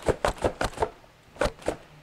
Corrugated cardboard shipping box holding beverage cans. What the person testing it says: there's a little room. I hear some sloshing. And I think I hear cans.